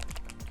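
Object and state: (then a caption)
Paint dropper bottle with metal mixing balls rattling inside. A plastic The Army Painter Speedpaint dropper bottle, from the Speedpaint Mega Set 2.0, is shaken so the two small metal ball bearings inside, which help mix the paint, rattle against its walls. Quick, bright clicking rattles sit over a steady low hum in a short half-second burst.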